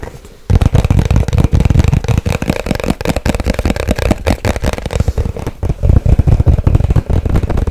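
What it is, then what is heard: Hollow cardboard box. A small, hollow white cardboard product box is tapped fast on its sides and corners with long white nails. After a brief quiet start, a dense, continuous stream of dry, hollow, low-pitched taps follows for the rest of the clip, each dying away almost at once.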